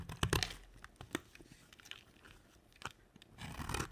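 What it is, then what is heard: Dry soap bar being scraped and cut. A red-handled blade, held by a hand with long white nails, scrapes and cuts brittle shavings from a dry, round, solid white soap bar set in a dark rim. Crisp, dry crunching and tearing scrapes come in short bursts with sharp snaps between them. The sound is loudest at the start and again near the end.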